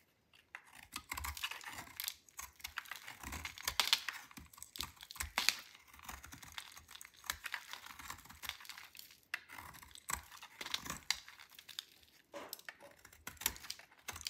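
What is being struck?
Bar of soap cut with a metal blade.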